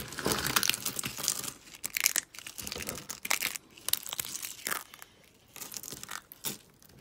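Thin, dry soap shards are scooped up and pressed by hand, then crushed in a fist. The result is bright, crisp crackling and crunching in irregular bursts, with almost no low end and each crackle cutting off sharply.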